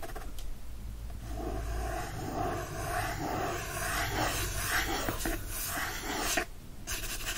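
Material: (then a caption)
Cardboard. A fingertip and nail scratch and trace across the cardboard back cover, wrapped in printed paper, of a teal hardcover copy of "The Secret Garden" held in one hand. The result is a steady, dry, scratchy rubbing with a soft papery hiss over a low background rumble, briefly dropping quieter near the end before resuming.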